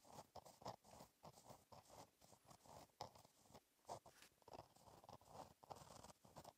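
A gel pen tip scratches across a flat black lined paper notebook page while writing cursive. Quiet, dry scratching strokes come in quick bursts with brief pauses between words, each stroke a soft papery rasp centered in the upper mids.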